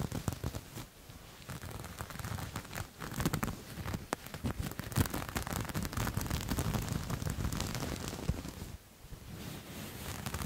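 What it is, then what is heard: Knit fabric being scratched. A grey knit fabric with a dotted texture is held up and scratched with fingernails and fingertips. The result is a dense, continuous scratchy rustle weighted toward the low end, with a few short dips in loudness between bursts of rubbing.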